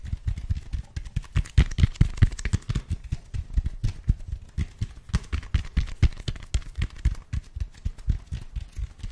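Fingertips rapidly tap and scratch the textured expanded-foam surface of a large black foam roller held beside and behind the microphone. The taps land as a dense, uneven run of soft, dull, low thuds that die away almost instantly, with a faint bright scratching rustle between them.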